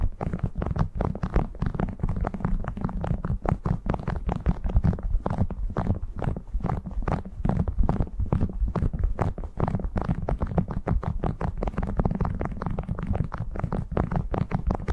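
Fingertips crinkle and scratch a printed cotton beeswax food wrap draped over a furry microphone windscreen. The result is a steady, rapid stream of soft crackles and rustles, heavily muffled and deep, with almost no bright content and very little ring after each touch.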